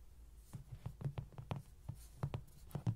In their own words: 0:00 ~ 05:26 로디장난감 두드리는 소리 Lody toy tapping sound